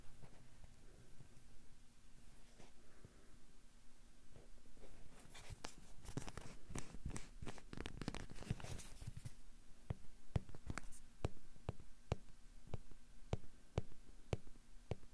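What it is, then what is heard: Rubber duck toy. A small hollow yellow rubber or vinyl bath duck is held close and rubbed and scratched with fingertips. Quiet low rumbling gives way to dense bursts of scratchy, crackling rubbing in the middle, then sharp, separate short scratches and taps toward the end.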